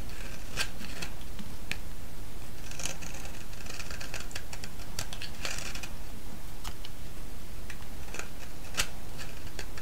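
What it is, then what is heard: Soap bar being shaved. A thinned, solid yellow soap bar held in the hand is shaved with a metal blade, giving crisp, bright scraping and snipping clicks. The clicks sit over a steady low rumble that stays at a constant level throughout.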